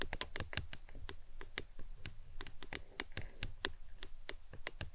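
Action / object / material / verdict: tap / plastic tumbler cup / plastic / none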